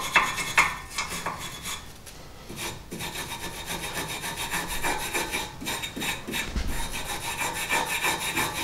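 A gloved hand scrapes and files the surface of a rusty cast iron brake caliper and bracket mounted on a car hub using a hand tool. Repeated raspy, bright scratching and rubbing strokes follow one another in a loose, uneven rhythm, with a few sharper scrapes near the start.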